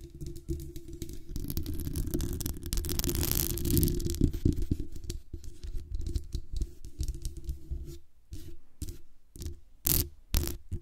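Long nails on both hands scratch and tap the sides of the hollow metal mesh grille on a black condenser microphone. The result is a dense, close-up rumbling scratch, heavy in the low end, with quick crackling bursts. Near the end, brief quiet gaps are broken by sharp, bright taps.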